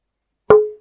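A single tap on a radially cut wooden tonewood plate, about 38 x 30 cm and used in lutherie, played back from a recording. It gives a short woody knock that rings into a clear tone near 425 Hz, a slightly sharp G#4, with brightness around 1000 to 1400 Hz. The tone fades out within about a third of a second.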